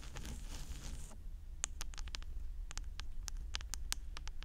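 Long orange nails scratch and tap the hollow white plastic housing of a 3Dio binaural microphone ear, working over its rim and plate. A second of dense, bright scratching gives way to a run of sharp, short, high clicky taps over a steady low rumble.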